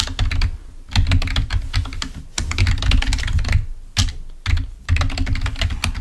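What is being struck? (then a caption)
Plastic membrane computer keyboard. Fingertips type on a full-size, wired, black plastic Microsoft membrane keyboard lying on a white table. Bursts of rapid key clicks come with a heavy low thud under each press and short bright ticks above. The clicks die away almost at once, with brief pauses between the flurries.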